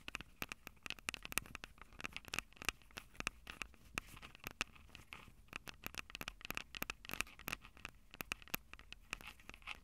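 Long purple nails scratch and tap the metal microphone capsules of a Tascam DR-05 recorder. Dense, quick, bright clicks and scrapes follow one another closely, each with a short metallic tick and a faint high ring.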